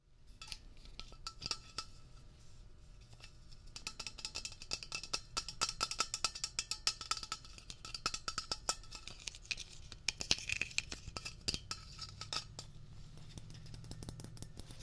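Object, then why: Metal aerosol can. Fingertips tap rapidly on the body of a medium-sized, hollow metal Blue Coral upholstery cleaner aerosol can held in the hand. The taps are quick, bright and clicky, with a faint metallic tinkle that dies away almost at once. They run in dense, uneven bursts throughout, with a low steady rumble underneath toward the end.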